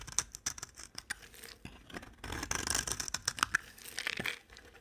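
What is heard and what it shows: A utility-knife blade scrapes a solid white bar of dry soap, carving it into thin curls. A rapid, irregular series of crisp, bright scraping and crackling strokes is heard, with a denser run of shaving texture in the middle and very little low end.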